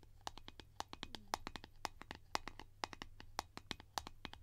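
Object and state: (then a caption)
Plastic cream tin lid tapped with nails. Long painted nails tap and scratch the surface of a round blue plastic Nivea cream container lid held in the hands. A fast, uneven run of sharp, clicky taps with a hollow plastic tone sits over a steady low hum, with brief scratching between them. Each tap dies away almost instantly, with no ring.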